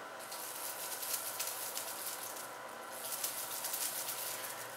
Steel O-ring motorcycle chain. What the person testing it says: Sounds like a baby's rattle